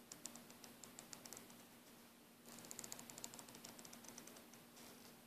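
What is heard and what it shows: Fingers and a thumbnail squeeze, rub and scratch the woven nylon braid of a coiled green airbrush air hose. Quick, bright, crackly ticks and scratches come in bursts, with a quieter stretch in the middle, over a faint steady low hum.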